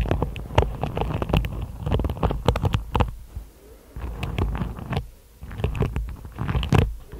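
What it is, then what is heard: Hairbrush with plastic bristles. Long nails tap and scratch across the tips of a hairbrush's dense plastic bristles on a wooden body. The result is a rapid patter of crisp clicks and scratchy bursts over a deep, rumbling low end, briefly quieting twice before the tapping picks up again.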